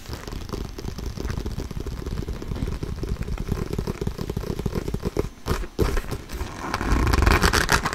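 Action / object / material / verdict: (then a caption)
scrape / inflated synthetic leather soccer ball / synthetic leather / none. Short painted fingernails scratch and tap close up along the synthetic leather panels and seams of an inflated, hollow soccer ball. The result is a fast, uneven stream of dull, low, hollow taps mixed with dry scratching, broken by a brief quiet gap. It ends in a louder, brighter burst of scratching.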